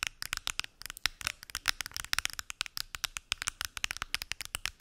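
Fingernails tap rapidly on a pill box, producing about 34 crisp, bright clicks in quick, uneven bursts. Each tap is sharp and dry, with almost no ring and little low end.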